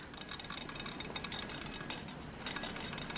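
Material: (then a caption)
Plastic. Shaking a cheap plastic Tesco RAD 108 world band radio with two AA batteries fitted produces a continuous rattle of something loose inside. Dense, bright clicking and clinking sounds over a steady background hiss. The loose part indicates a fault.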